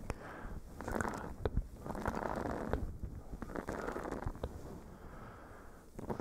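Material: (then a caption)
Silicone. A small, flexible blue silicone face-scrubber sponge is pressed against a furry microphone cover and scratched with fingernails. The result is a muffled, low-heavy rustling scrape in swelling bursts, broken by soft, sharp ticks.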